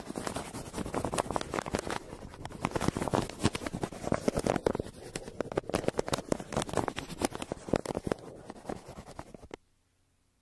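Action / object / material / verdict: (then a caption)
scrape / kraft paper envelope scratched with a pencil / paper / none. A yellow wooden pencil held in the hand scratches and scribbles across a crumpled brown kraft paper shipping envelope lying flat on a table between two microphones. Dense, rapid scratchy strokes and papery rustles run continuously for about nine and a half seconds, then stop abruptly into near silence.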